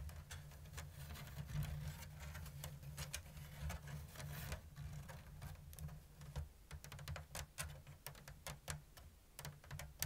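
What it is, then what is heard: Woven bamboo basket. Long blue nails scratch and tap the thin bamboo strips of a round, hollow basket woven in an open diamond lattice. Many short, bright clicks and dry scratches sound over a steady low hum.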